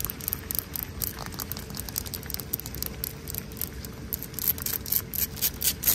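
Long nails and fingertips scratch and rub a wet, solid, pebbly exposed-aggregate concrete ground. Quick, bright gritty scrapes and rubs repeat throughout, growing louder and denser toward the end, over a steady low rumbling background that may be rain.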